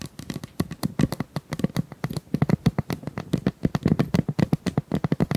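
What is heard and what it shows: Long nails scratch and tap along the ribs of a hollow pink corrugated plastic pop tube, about 25 cm long, held in both hands. The result is a rapid, uneven run of dry, hollow clicks and scrapes with a low body around 180 Hz. Each tap dies away almost instantly.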